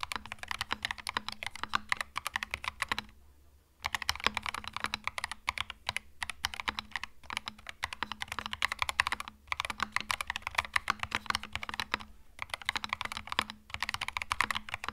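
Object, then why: Mechanical keyboard with plastic keycaps. A compact cream mechanical keyboard with plastic keycaps is typed on quickly with the fingertips, producing dense, bright, clicky keystrokes. The brief pauses near 3.5, 9.5 and 12.5 seconds leave a faint low hum underneath.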